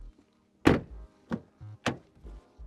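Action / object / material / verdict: strike / car door, steel / steel / solid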